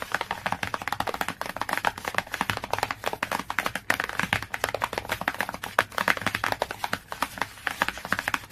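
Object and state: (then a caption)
Glossy cardboard hardcover book. Fingernails tap and scratch quickly on the glossy cover of a cardboard hardcover book. The result is a dense, steady stream of short, dry clicks centered around 1.7 kHz, with bright scratchy edges. The hits die away almost instantly and carry very little low end.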